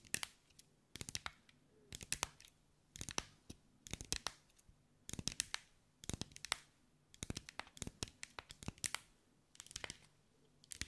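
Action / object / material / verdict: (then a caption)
tap / glass mosaic ball / glass / none. Long white acrylic nails tap and scratch over a hand-sized sphere covered in small green mirrored glass mosaic tiles, held in the hands. Quick bursts of sharp, bright clicks and scratchy ticks come in clusters about once a second, each dying away almost instantly, with quiet gaps between.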